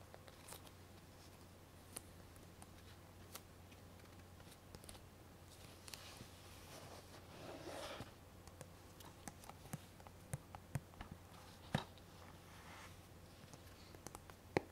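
Long painted nails scratch and tap the front and back of a small hollow plastic DVD case, possibly in a cellophane wrap, held in both hands. Quiet, irregular clicks and taps are scattered over a steady low hum, with a longer, brighter scratching passage around the middle.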